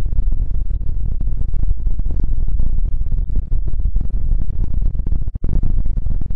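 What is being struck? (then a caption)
Stuffed fabric throw pillow. A soft, stuffed, square cartoon-print fabric throw pillow sits in front of the mic while fingertips and nails tap and scratch its fabric face. The result is a steady, dense run of muffled, low thumps and rustling scratches, with almost no bright content.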